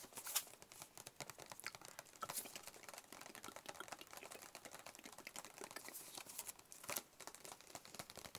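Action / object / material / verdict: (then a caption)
tap / closed cardboard box / cardboard / none. A hollow, closed, white cube-shaped cardboard box is held in the hands and tapped with the fingertips. The result is a quiet, rapid, continuous patter of light, dry taps, bright and crisp with almost no low end and very short decay. A few slightly louder taps stand out from the steady flurry.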